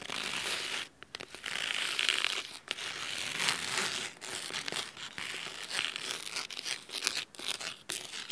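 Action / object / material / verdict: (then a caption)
scrape / cloth-bound hardcover book / cloth / none. Fingernails scratch the cloth spine of a thick, navy fabric-bound hardcover book. The result is dry, crisp, bright scratching in bursts of varying length, separated by short pauses, with almost no low end and no ring after each stroke.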